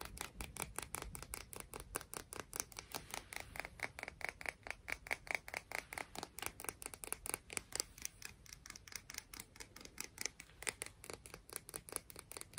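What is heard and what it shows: A rock from the beach is tapped and scratched in a rapid, steady run of about 62 short, dry, bright clicks with almost no ring. The strikes keep a quick even rhythm through the clip, with a faint scratchy rasp between them.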